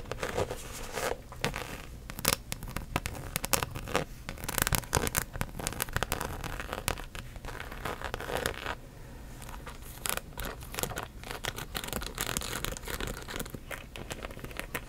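Long nails tap and scratch the surface and top edge of a hollow rainbow-print coated canvas handbag while it is held up and then lowered. The result is a dense, continuous stream of quick, dry taps and crisp, bright scratches with a light hollow low thump underneath, and each hit dies away almost instantly.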